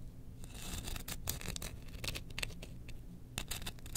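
Long painted nails scratch along a long, thin, solid wooden spoon handle decorated with pyrography designs, held horizontally in both hands. Quick, bright, rasping strokes come in uneven bursts over a steady low hum. Each scratch cuts off almost at once, with no ring.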